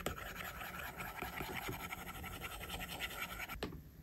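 A plastic stylus tip makes short, rapid scratching strokes across the flat, solid glass screen of an iPad, with the tablet held at its edge by the left hand. The strokes form a steady dry, raspy scratching with bright edges over a faint low hum, then stop abruptly near the end, leaving quiet.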